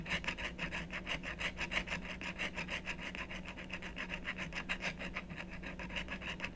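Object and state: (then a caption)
Scratch-art card being scratched. A wooden stylus rapidly scratches and rubs the coating off a thin, solid black-coated scratch-art card resting on a wooden table. Quick, fairly uneven rasping strokes of about three per second carry a bright scratchy band centered near 2 kHz over a steady low hum.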